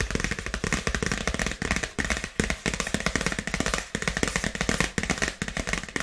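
A dark polka-dot paper gift bag, held upright, is tapped and scratched with long nails. A steady run of quick, dry taps mixes with crinkly scratching, with a soft low thump under each tap and papery crackle on top. Each sound dies away almost at once.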